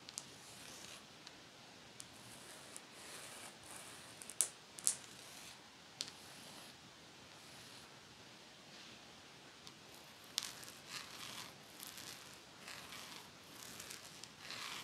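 Long nails scratch across the metal teeth of a pet comb, which is partly hidden by a hand at the start. The result is quiet, bright, raspy scratching in bursts, with a few sharp high clicks standing out around the middle and later.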